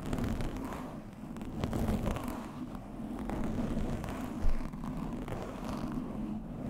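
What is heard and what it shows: Fingertips of both hands scratch and rub a soft, fist-sized black open-cell foam windscreen fitted over a blue microphone. The result is a steady, muffled, low rumbling and crackling texture with a faint hum and almost no high end. A brief louder scuff stands out about two-thirds of the way through.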